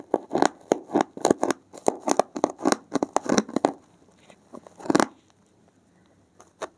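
A blue-gloved hand pushes a thin metal needle into the top edge of a thick, solid, porous block of dark grey foam and scratches along it. Dense, rapid scratchy crackles and tearing-like strokes fill the first four seconds, mostly midrange with bright edges and almost no low end. They then thin into a few sparser bursts and a quiet tail with faint ticks.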